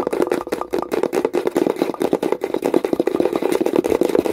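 Long pointed nails tap quickly and aggressively on the flat, light wooden lid of a hollow wooden box. The result is a dense run of short, crisp, hollow knocks centred around a mid-range tone, each dying away almost instantly.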